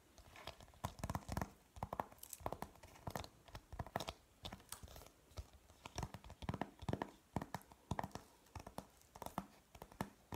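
A thin, flat printed cardboard periodic table chart is held up in both hands while natural fingernails scratch and tap its surface. The result is a quick, uneven run of dry, crisp taps and papery scratches with no ring, some slightly crinkling or tearing in texture.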